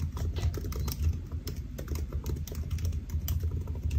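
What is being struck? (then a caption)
Laptop keyboard with plastic keys. Fingertips of both hands type rapidly on a solid silver aluminium laptop keyboard with black plastic keys, resting on a white desk. A steady stream of soft, dull key taps runs throughout, low and thumpy with faint bright clicks on top. Each tap dies away almost at once.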